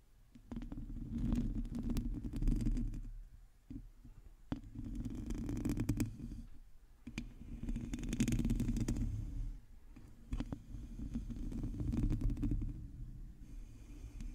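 Long acrylic nails scratch the top and sides of a black microphone's hollow metal mesh grille, making a dense, rumbling scrape concentrated in the low range with a hum-like tone around 240 Hz. Scratching comes in uneven bursts with short pauses between them, each burst full of quick clicks and bright ticks.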